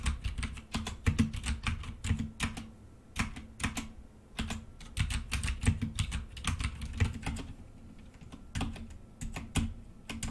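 Fingertips of both hands type continuously on a black plastic full-size mechanical computer keyboard with red keycaps resting on a desk. Quick, dry keystrokes each carry a low thump and a short bright click, coming in uneven bursts with brief pauses and no ring after each press.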